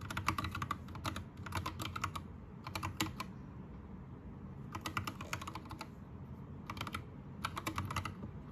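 Fingertips of both hands type on an Anne Pro 2 60% mechanical keyboard with plastic keycaps and Gateron red switches. Quick runs of short, bright clacking keystrokes come in bursts, separated by brief pauses, with a longer gap in the middle. A steady low rumble sits underneath the whole time.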